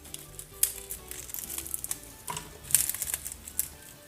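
Hands crush the leaves of a double-fried Roman-style artichoke, producing a series of sharp, bright crinkling crunches over a faint low hum. The leaves prove crispy.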